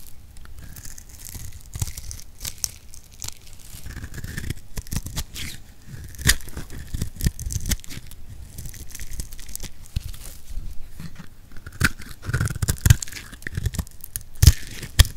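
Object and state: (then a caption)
Soap bar being shaved. A utility knife blade shaves thin curls off the scored surface of a solid translucent pink soap bar held in the palm. It makes a continuous run of dry, crisp scraping and crackling with many sharp little crunches, mostly low in weight with brief bright ticks.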